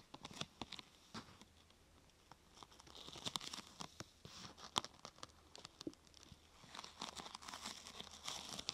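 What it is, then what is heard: Thin plastic sheet. Long nails scratch and tap across the top of a thin, glossy purple plastic sheet curved into a hollow half-tube, making crinkly sounds. Quiet, bright clicks and crackles come in quick irregular bursts, with denser scratchy stretches in between.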